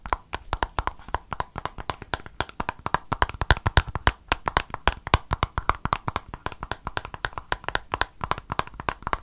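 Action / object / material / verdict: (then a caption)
tap / small plastic squeeze tube / plastic / none. A small silver plastic cosmetic squeeze tube is held in both hands and tapped and scratched with fingernails. Rapid, irregular, dry clicks and taps with brief scratchy textures repeat throughout, each hit short and dying away almost instantly.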